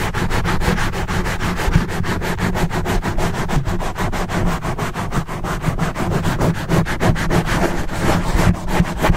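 Fingertips and short nails of both hands quickly scratch and rub a large black foam windscreen, soft and porous, fitted over a hollow microphone head. The result is a dense, fast, continuous scratching roar that is heavy in the low end, with rapid rhythmic rubbing strokes at a fairly steady loud level throughout.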